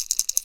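A red and chartreuse plastic square-bill crankbait, the rattling "Hard Knock" version, is shaken by hand so its internal rattles clatter in quick, bright, high-pitched clicks with almost no low end. This rattling bait is chosen for dirty water, while a silent one is preferred for clear water.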